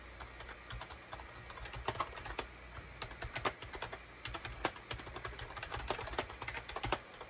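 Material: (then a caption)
Plastic. Fingertips type rapidly on a full-size gray and cream SHIPADOO K600 wired USB keyboard, with a hollow plastic case and plastic keycaps, resting on a desk mat. A quick, uneven stream of short, dry plastic clicks and clacks, some louder and brighter, sounds over a faint steady low hum. Each keystroke dies away almost instantly.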